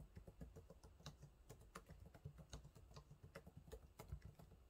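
Fingertips type on the low-profile plastic keys of a silver laptop keyboard, producing a quick, uneven series of soft, muted taps. The clicks are quiet and mostly low and dull, with occasional brighter ticks, and each one dies away almost immediately.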